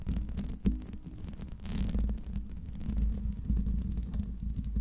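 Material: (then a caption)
Metal mesh. Long red nails scratch and tap the top of the hollow silver metal mesh grille of a Blue Yeti microphone, with the hands resting on the mic throughout. The result is a dense, muffled stream of low, thumping rumbles and soft scraping, with a deep hum around 60 Hz and one sharper tap standing out early on.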